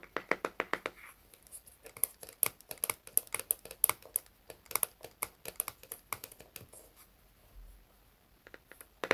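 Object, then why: Small plastic jar with lid. A small round red plastic hair wax jar is held in both hands while its lid is tapped and scratched with fingertips and nails. Quick, dry clicks and taps arrive in irregular bursts with bright, crisp edges and almost no ring. Softer scratching fills the gaps between them.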